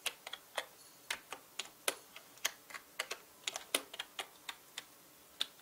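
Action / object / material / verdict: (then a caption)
tap / plastic mechanical keyboard keys / plastic / none. Fingertips type on a full-size black mechanical keyboard with plastic keycaps, producing about 21 sharp, bright clacks at an uneven pace. Each tap is short and crisp with almost no low end, and the clicks die away almost instantly against a faint, quiet background.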